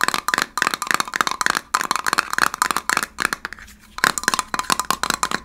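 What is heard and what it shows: Fingernails tap rapidly on the rim and lid of a small, hollow, handheld gold heart-shaped metal candle tin with a paper label on the lid. The taps come in quick bursts of bright, tinny clicks with almost no ring, pausing briefly in the middle before resuming.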